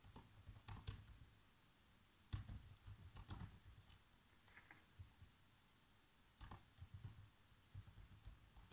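Bare fingertips with short nails type out a script on a black plastic laptop keyboard. Short bursts of soft, muffled key taps with a low thud and a little bright click come in clusters, separated by quiet pauses. Each tap dies away almost instantly, giving a dull, close, quiet patter.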